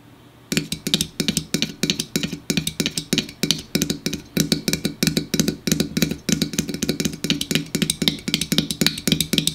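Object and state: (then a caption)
Aluminum soda can. Fingers tap and drum quickly on an aluminum store-brand diet soda can, starting about half a second in. The taps come in rapid clustered bursts of short, dry, bright clicks with a hollow low thump and almost no ring, over a steady low hum.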